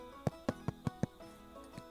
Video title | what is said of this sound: Classic Damper recipe. in the camp oven #camping #offgrid #damper #diy #fyp | It is still mighty hot, but it sounds hollow.